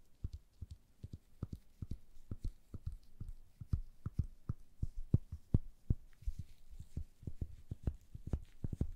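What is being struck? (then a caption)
Small turned wooden chess piece. A small, solid, cream-colored turned wooden chess piece is held in gloved hands and tapped and scratched with long nails. The result is a quick, irregular run of soft, dull, low taps that stop almost instantly, with faint high scratching in between.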